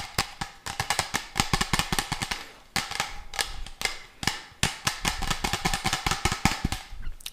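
A medium, hollow, apparently empty textured orange-red translucent plastic water bottle with a red cap is held upright in both hands and tapped and scratched with fingertips and nails on its patterned surface. Dozens of fast, irregular, sharp taps land in quick bursts, each a bright hollow click with a short low thump and little ring, with scratchy rasps filling the gaps between them.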